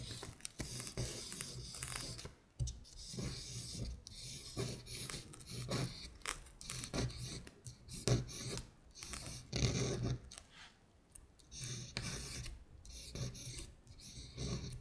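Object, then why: Thin printed paper sheet scraped by a long fingernail. A long acrylic nail traces and scratches over the printed words "Winter Bear" on a thin printed paper sheet lying flat. The result is a run of dry, rasping scratch strokes with a bright hiss, rising and falling in irregular bursts over a steady low hum.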